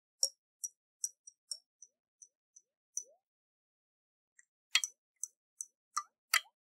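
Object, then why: Glass jar with water inside. Long nails tap a round, hollow glass jar with a metal lid and water inside as it is tilted in the hands. The result is a quiet, irregular series of short, bright, dry clicks with very little ring, plus a few soft sliding watery notes. After a brief pause near the middle, a denser cluster of taps follows.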